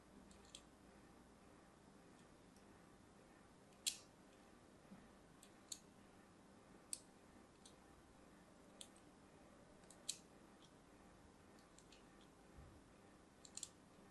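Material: Soap.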